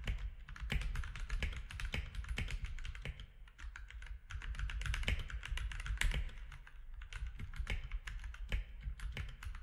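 Fingertips of both hands type steadily on a compact mechanical keyboard with grey, white and orange plastic keycaps. The result is a continuous run of quick, dry clacks with bright attacks that die away almost at once, over a constant low hum.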